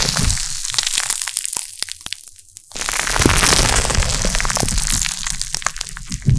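A large mass of soft pink glittery carbonated slime is stretched, folded and squeezed with bare fingertips and short nails just behind a metal mesh microphone. Dense crackling and popping fill the clip, with a quieter, sparser stretch in the middle before the bright crackle swells back. The slime is handled, not struck.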